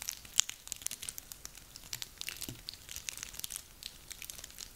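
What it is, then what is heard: Dry pine cones crackling. Hands squeeze and rub a handful of small, dry, woody pine cones. The result is quiet, bright, dense crackling made of many sharp little clicks and crinkles with almost no low end.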